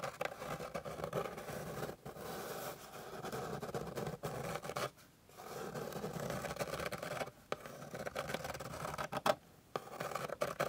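Long pink nails scratch across the grain of a flat, light wooden board with a solid surface. The sound is a steady, dry, rasping scrape centered in the midrange, broken by short pauses, including a near-silent gap around the five-second mark. Toward the end, a few sharper scratches stand out.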